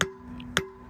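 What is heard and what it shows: A steel wheel seal, hammered into a flatbed trailer hub with an installer tool, is tapped twice. Each tap gives a sharp metallic click with a short ringing tone around 390 Hz. This metal-on-metal sound shows the seal is seated flat and fully driven in.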